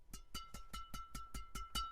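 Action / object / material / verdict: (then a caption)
tap / badminton racket strings / synthetic string / tight. A freshly restrung Kawasaki Steel Rebar 138 badminton racket with VBS-66 Nano string at 25 lb mains and 27 lb crosses is tapped on its strings nine times. Each tap gives a short, clear, bright ping with a steady metallic ring near 1.3 kHz, showing a tight new string bed.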